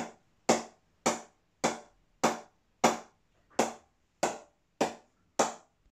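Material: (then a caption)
Willow. A 2020 Adidas Elite XT cricket bat is tapped in a ping test, giving nine sharp, bright wooden knocks at a steady pace. Each strike has a low ping near 230 Hz and dies away quickly.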